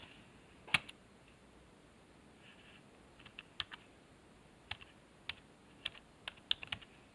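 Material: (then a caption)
Plastic. Fingertips press the numpad and letter keys of a black plastic computer keyboard resting on a wooden desk. Twelve short, bright, dry clicks come in scattered bursts, each dying away almost at once, with little low end and quiet pauses between taps.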